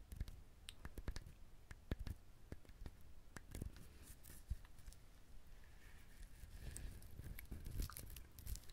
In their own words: 야자열매 만지작거리기 / COCONUT TAPPING SOUNDS